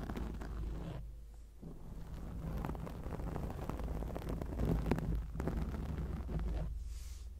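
The tips of long acrylic nails scratch a round grey foam windscreen on a microphone, making a dense, muffled scratching rustle with a deep rumbling low end. The scratching runs almost continuously, with brief quieter dips near the start and toward the end.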